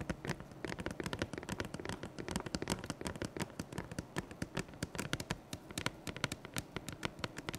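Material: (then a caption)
Cardboard. A large printed cardboard box of the Pokemon 151 Ultra Premium Collection, closed and likely full, is held upright in both hands and tapped rapidly with the fingertips and nails. The quick, dry taps and light scratches come in a dense, uneven stream, each click sharp and short with a hollow low thump under a bright papery edge.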